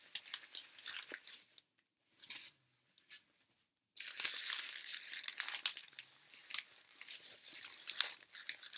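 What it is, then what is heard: Crumpled printer paper. A wad of torn, crumpled sheets of thin, light white printer paper is squeezed and rubbed in both hands close to the microphone. Dense, bright crinkling and crackling fills the opening, drops to near silence with a few faint rustles for about two seconds, then resumes as continuous sharp crackles with no low end.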